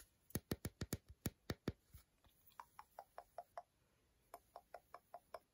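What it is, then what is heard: Milk chocolate bar tapped with nails. Long decorated nails tap and scratch the segmented front of an unwrapped solid milk chocolate bar, about 100 g, held in the hand. A quick run of sharp, dull taps with a low thump gives way to lighter, brighter clicks, then a pause before a final burst of clicks. Each tap is short with almost no ring, and twenty hits can be picked out.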